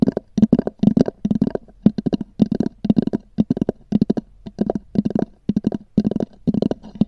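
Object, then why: Textured hard-shell foam zip case. Long nails scratch and tap on a small black oval hard-shell EVA zip case with a textured cover, which is hollow. Quick clusters of dry, raspy taps and scrapes come in short bursts with brief pauses between them. Each has a hollow, boxy tone around 200 Hz that stops at once without ringing.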